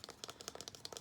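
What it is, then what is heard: Plastic body lotion bottle. A Himalaya body lotion bottle is tapped in a quick, irregular series of about nine light taps. Each tap is a quiet, bright click with almost no low end, dying away almost instantly.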